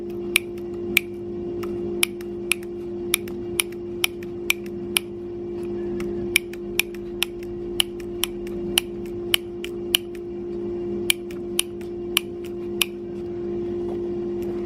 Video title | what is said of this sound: Hub Motor Noise Diagnostic | if one of them's loose and is loose enough making noise when it's moving it should make a different sound when I tap it